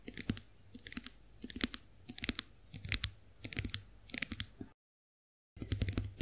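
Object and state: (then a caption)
Chrome face roller. Long acrylic nails tap and scratch the smooth handle of a chrome-finished face roller, giving bursts of sharp, bright clicks grouped in quick clusters. A steady low hum sits underneath, and the sound cuts out to silence for about a second before the tapping resumes.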